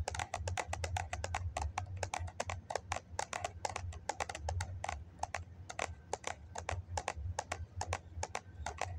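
Fingers and nails rapidly tap the side of a hollow white foam cup held cupped in the hands. The result is quick, dry, hollow clicks with no ring, over a steady low hum.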